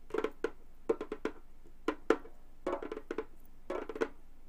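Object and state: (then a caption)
Frame drum with synthetic head. A hollow Remo frame drum with a synthetic skin head is tapped and drummed with gold metal claw nails, giving 14 quick, dry taps in uneven clusters. Each hit has a short, hollow tone around 450 Hz with a bright clicky edge, and dies away almost at once.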